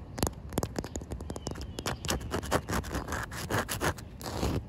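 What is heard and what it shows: Short white nails scratch across a solid, wet outdoor concrete slab with a joint and puddles, making a rapid series of rough, gritty scraping strokes with a low rumble underneath. A faint animal sound may be heard in the background.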